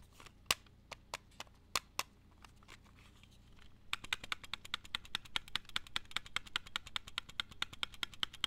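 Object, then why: Plastic video cassette cases. Plastic video tapes are tapped, first with scattered, uneven taps for about four seconds and then with a quick, steady run of taps to the end. Each tap is a short, dry, bright click that dies away almost at once over a faint background hiss.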